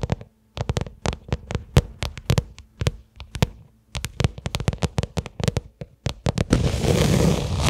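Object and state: Leather case tapped with fingertips and nails.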